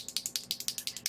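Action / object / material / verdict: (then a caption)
shake / small plastic bottle of liquid brow tint / plastic / none. A bottle of Revlon ColorStay Brow Tint, a liquid eyebrow tint in dark brown, is shaken before use. It produces 11 quick, bright, high-pitched rattling clicks in steady rhythm, each dying away almost at once.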